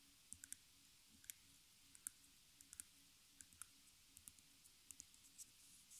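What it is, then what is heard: Nail taps on back of a stretched canvas frame. Long nails tap and click on the stapled wooden frame on the back of a small stretched canvas with a hollow center, held in the hands. The result is an irregular, unhurried series of quiet, sharp, bright clicks that die away at once, over a faint steady low hum.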